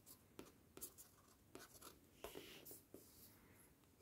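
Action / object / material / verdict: tap / glossy paper cover of a paperback book / paper / none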